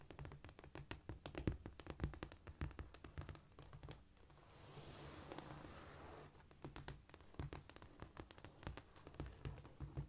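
Long almond-shaped nails tap and scurry over a flat, solid cork floor, making quick, irregular clicks with soft, low thuds underneath. Midway, the taps give way to a couple of seconds of steady, bright scratching across the surface before the tapping resumes.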